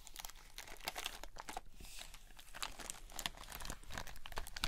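A hand-sized squishy stress ball filled with red gel beads inside a white net mesh is squeezed and scratched with long nails. It gives dense crunchy, crinkling squelches with sharp bright clicks over a low rumble, continuing without pause.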